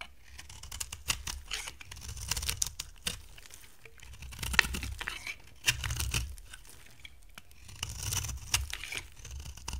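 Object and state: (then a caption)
Dry soap bar scraped with a blade. A hand-sized, solid brown-amber bar of dry soap is scraped with a utility knife blade in repeated strokes. Each pass makes a bright, crisp rasping and shaving crackle with a faint low thump beneath, in irregular bursts separated by brief pauses.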